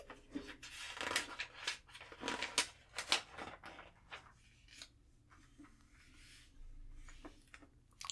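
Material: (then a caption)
Paper. An open glossy magazine lying flat on a table has its thin paper pages turned and flipped by hand with long painted nails, while palms rub across the open pages. Quiet, bright crinkling rustles and sharp papery snaps come in an uneven rhythm, with softer sliding swishes between them. Each sound cuts off almost at once.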